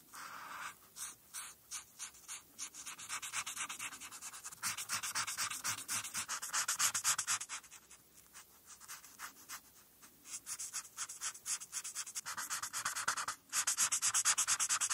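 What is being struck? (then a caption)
Felt-tip marker on a paper sheet. A marker's felt tip colors a thin printed paper coloring sheet of the Five Nights at Freddy's Security Puppet, resting on a flat board, with short back-and-forth rubbing strokes in a small area. The strokes make a bright, dry, scratchy swishing that repeats quickly and unevenly, with brief pauses between bursts and almost no low end.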